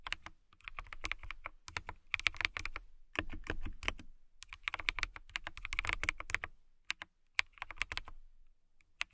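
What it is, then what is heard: Clear acrylic mechanical keyboard. A transparent acrylic mechanical keyboard with clear plastic keycaps and blue lighting is typed on with long nails and fingertips. Rapid, bright plastic clicks and clacks come in bursts of typing separated by short pauses. Each keystroke is short and dry, with no ring after it.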